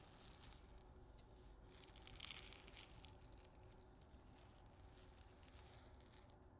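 A small clear glass salt grinder with a black cap, filled with pink salt crystals, is held in both hands and shaken and tilted so the salt rattles inside. The sound is a quiet, bright, gritty rattle with a hiss-like high sheen. It swells in bursts near the start, around the two-second mark and near the end.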